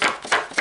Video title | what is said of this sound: tuto sachet gourmandise hyper facile | ici ça sonne vraiment fort